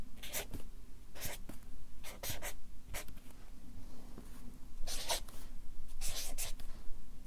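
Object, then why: Felt-tip marker on paper sheets on a clipboard. A Sharpie marker writes a line of text on a stack of white paper on a clipboard, its felt tip scratching and rubbing the paper in short, bright, airy strokes. The strokes come in clustered bursts over a steady low hum.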